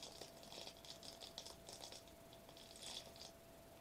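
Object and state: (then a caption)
Foil bubble wrap. A foil-laminated plastic bubble wrap sheet, held upright, is tapped and scratched quickly with the fingertips across its foil bubbles. The result is a quiet, bright stream of crinkly, crackling patter in uneven bursts, with a faint steady tone underneath.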